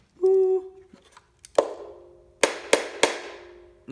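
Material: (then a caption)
Wood. A ukulele body assembled from a KiwiCo Eureka Crate kit is tapped by hand after a brief sustained tone at the start. Four sharp taps are heard, each followed by a short mid-pitched ring that fades away. The body rings clearly and is fairly weighty for what it is.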